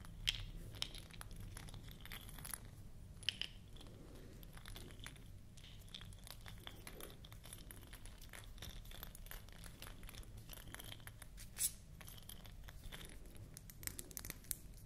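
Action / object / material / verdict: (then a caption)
tap / small glass bottle with paper label / glass / none. Long acrylic nails tap and scratch a small amber glass supplement bottle with a white paper label and gold metal cap, held close in both hands. Quiet, bright clicks and short glassy ticks mix with soft papery scratching over a steady low hum, with a few sharper taps standing out.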